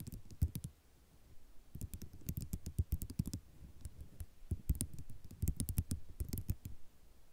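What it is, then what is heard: Ceramic mosaic tile sheet. Long nail tips tap across a white ceramic mosaic tile sheet in quick, irregular bursts of short, sharp clicks. Each click dies away almost instantly, with a dull, low-weighted body and bright edges over a soft background hiss.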